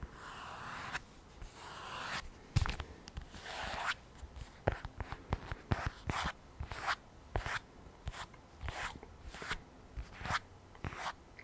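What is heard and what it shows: A lavender polyurethane and microfiber iPad folio cover with the tablet inside, held flat in both hands, is scratched and tapped on its front by long nails. Soft, breathy scratching strokes in the first few seconds give way to a run of short, sharp tap-and-scratch sounds with bright, hissy edges and dull low thumps.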